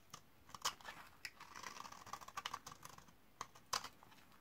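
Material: Soap.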